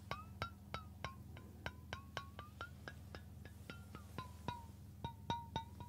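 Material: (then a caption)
Stainless steel. A stainless steel water bottle is held sideways while fingertips and nails tap its body and flat metal base. A quick, uneven series of light metallic clinks rings out, each a short, pitched ping near 1 kHz with bright overtones. Each ping dies away quickly over a steady low hum.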